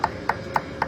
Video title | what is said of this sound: Mitsubishi Delica Welding Restoration DSP Mechanic 1997 Northern Irish Delica Feb 2026 | body filler just sounds hollow